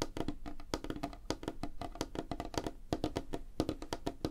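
Fingertips and nails of both hands tap fast on a flat, solid, light wooden tabletop. The result is a rapid, uneven run of short, dry knocks, each with a hollow, woody tone around 316 Hz, a soft low thump, and a faint bright click, dying away almost instantly.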